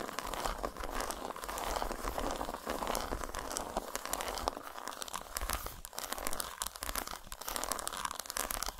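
Long nails rapidly tap and scratch the squares of a solid, segmented dark chocolate bar lying flat on a towel. The result is a dense, continuous stream of crisp, dry scratches and quick taps with a crinkly texture, centered in the mids with bright high clicks.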